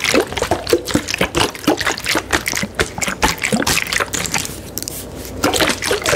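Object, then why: Plastic water bottle with water inside. A medium clear plastic Fiji water bottle with a blue cap, hollow and filled with water, is held in the hand and tapped with long acrylic nails. Quick, irregular, sharp clicking taps come through bright and crisp over a soft trickling, sloshing of the water inside.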